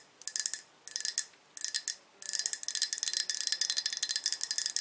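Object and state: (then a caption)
Ceramic coffee mug tapped with fingernails. A medium-sized, light green glazed ceramic coffee mug, hollow and partly filled with coffee, is held in both hands and tapped on its sides with long acrylic nails. Three short bursts of quick taps are followed by a longer steady run of tapping. The result is bright, high, bell-like ringing clicks that die away almost instantly, with almost no low end.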